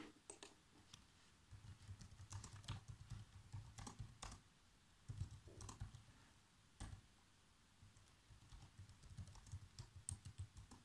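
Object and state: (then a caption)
Plastic laptop keyboard typing. Fingertips type on the black plastic keys of a laptop keyboard, producing quick runs of soft, short clicks with a low thump under each press and a brighter tick on some keys. Each tap dies away almost instantly, with brief quiet pauses between bursts of typing.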